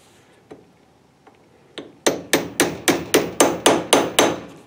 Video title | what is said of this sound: Mustang door Hinges rebuild. Brooklyn Pony part 37 | you can hear the pitch change whenever you're hitting something that's moving it kind of has a dull thud